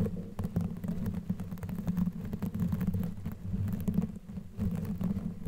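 Long nails on both hands scratch and rub a black knitted yarn sleeve covering a microphone head. The sound is a dense, muffled, low rumble of scratching and rubbing, with a steady hum-like tone around 190 Hz and quick, brief crackles running throughout. The level dips briefly near the fourth second before the rubbing picks up again.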